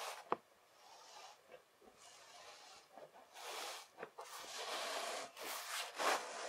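A flattened layer of kinetic sand is rubbed and pressed by fingertips and palms, then pushed together into a slab. Soft, grainy rubbing swells rise and fall with a bright, hissy texture, broken by two short, sharp clicks.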